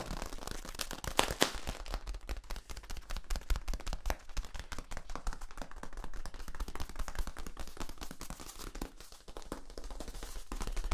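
Fingernails and fingertips scratch and tap along the corrugations of a long, hollow, yellow ribbed plastic tube. The result is a dense, steady run of quick clicks and scratchy ticks that die away almost instantly, with a few sharper, brighter cracks near the start and a low rumbling weight underneath.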